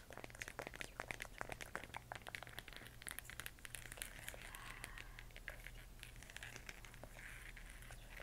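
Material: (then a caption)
Plastic. Long nails rapidly tap and scratch a large, hollow plastic LED moon lamp with a textured moon surface, held in both hands while it glows and changes colour. Quick, dry clicks and crinkly scratching come in dense bursts and die away instantly, over a faint, steady low hum.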